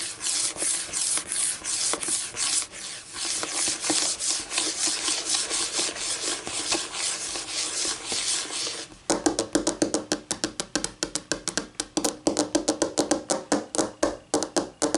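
Long nails scratch and rub across a flat, solid white laminate tabletop with faint grain. For the first nine seconds the rubbing is dense, continuous and bright. It then switches to quicker, sharper back-and-forth scrapes that come in distinct, uneven strokes.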